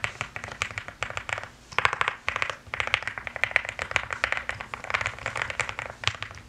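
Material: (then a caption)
Plastic. Rapid typing with fingertips and long nails on a pastel mechanical keyboard with plastic keycaps. It makes a dense run of short, bright clicks and clacks with tight, quick decay, coming in uneven bursts with brief pauses and centred around 2 kHz with little low end.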